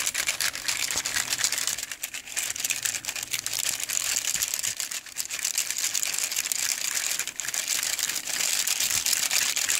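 Fingertips strum and scratch across the ends of a hand-held bundle of long, dry, hollow cinnamon sticks. This produces a steady stream of crinkly, rubbing, crackling sounds concentrated in the high frequencies. Quick irregular ticks run through it with almost no low end.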